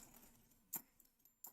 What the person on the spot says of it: The Telltale is first off the sound kind of a hollow sound